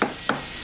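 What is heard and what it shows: A hammer taps twice on the fiberglass rudder of a hauled-out boat, checking for hollow sounds that would indicate delamination. Each tap is a short, sharp knock with a bright midrange crack that fades within about a tenth of a second. The rudder sounds solid, as expected, with no delamination.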